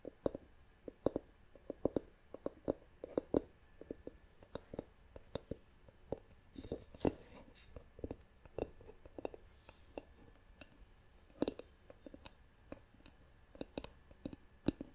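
Long nails tap and scratch the lid of a hollow, turned, light-colored wooden jar with a wooden lid. The result is a quiet, dense run of short, dry wooden clicks and brief scratchy rustles, centered in the low mids, with little ring after each tap.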